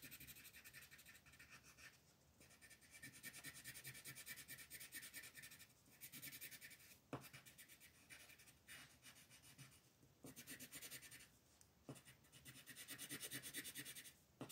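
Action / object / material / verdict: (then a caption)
scrape / colored pencil on a paper coloring page / paper / none. The tip of a green colored pencil shades in small strokes across a flat paper coloring sheet on a table, while the other hand, with long nails, holds the sheet. A quiet, bright, scratchy rubbing comes in steady bursts separated by brief lulls, with a few sharp ticks as the pencil resets.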